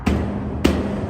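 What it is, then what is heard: Fake metal saguaro cactus sculpture. A fake saguaro cactus sculpture made of metal in Las Vegas is banged on twice. Each hit gives a low, dull metallic thud with a steady hum around 200 Hz underneath.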